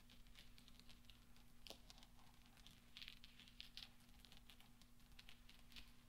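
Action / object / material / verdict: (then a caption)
tap / small steel balls / steel / none. Fingertips and nails press small solid steel pachinko balls together on black velvet. They make a quiet, continuous patter of tiny bright clinks and clicks that die out almost instantly, over a faint low, steady hum.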